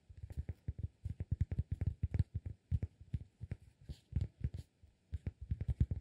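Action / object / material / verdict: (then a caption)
tap / flat cork disk / cork / none. A solid, round, flat cork disk about 15 cm across is held in one hand and tapped and scratched with fingertips and nails. It gives quick clusters of soft, dull, low thuds that die away almost at once, with a faint bright scratchy edge on some strokes. Short pauses separate the bursts.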